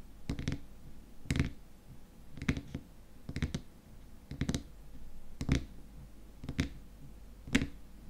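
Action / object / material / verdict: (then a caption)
tap / small glass cream jar with plastic lid / plastic / none. Fingernails tap rapidly on the top of the frosted white plastic lid of a small glass cream jar filled with cream. About eight short bursts of quick, dry clicking taps come roughly once a second, with a dull low thump under each and a brief bright edge. Each burst stops almost at once, with little ring.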